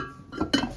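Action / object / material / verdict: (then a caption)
tap / ceramic coffee filter / ceramic / cracked. A ceramic coffee filter priced at £15, with a visible crack, is tapped twice, giving two short, dull clinks with almost no ring. Because of the crack it doesn't ring; it is useless for brewing and would fall apart.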